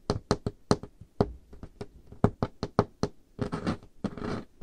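Painted fingernails tap on a large, solid, dark-stained wooden table top, seen close up. A run of short, dry knocks with a low, woody thump and a brief bright click, each fading almost instantly. Toward the end the taps blur into denser, rougher bursts.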